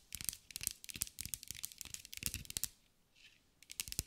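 Long acrylic nails rapidly tap and scratch a green mirror-glass mosaic sphere held in the hands. The result is a stream of crisp, bright clicks and scrapes with almost no ring, broken by a brief quiet pause before the tapping resumes.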